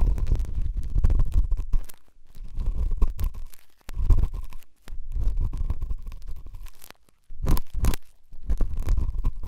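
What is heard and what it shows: A pen tip scratches and rubs inside the ear canal of the left white silicone dummy ear on a binaural microphone. Close, muffled, deep rumbling scrapes and crackles come in bursts separated by brief near-silent pauses, with a faint steady tone near 1 kHz underneath.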